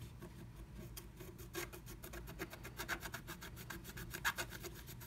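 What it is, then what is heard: Scratch art paper being scratched. A wooden stylus scratches a black-coated scratch art card beneath a blue stencil, filling in the letter V. Rapid, dry, bright scratching strokes repeat unevenly over a low background rumble, with a few louder strokes near 3 and 4.3 seconds peaking around 1.6 kHz.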